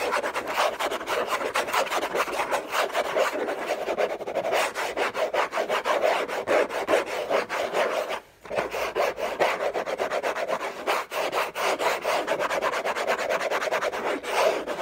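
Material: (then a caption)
Cardboard. Short nails scratch fast across the hollow lid of a large flat orange Hermès cardboard gift box, with a thin bracelet on the wrist. A dense, continuous rasping scrape sits in the midrange and stretches up into bright highs, with one brief pause about two-thirds of the way through.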